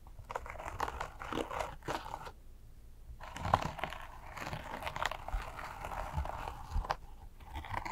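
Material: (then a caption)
Fabric. Long acrylic nails scratch across the embroidered fabric patch on a small black bag, producing dry, crunchy, crinkly scraping in quick overlapping bursts centered in the midrange. The scratching briefly stops for about a second before resuming in denser, textured strokes that continue to the end.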